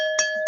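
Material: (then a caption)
Glass. An empty drinking glass with no water in it is flicked twice, each flick giving a short bright tap over a steady, sustained ringing tone. Both flicks sound the same, and the glass rings at a different pitch than a glass holding water.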